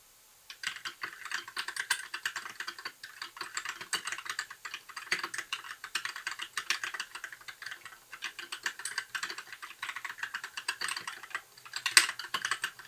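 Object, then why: Plastic mechanical keyboard. Fingertip typing on a compact white mechanical keyboard with plastic keycaps, with fewer, lighter keystrokes than usual. A steady run of short, bright clicky taps fills the clip, with a sharper louder strike near the end.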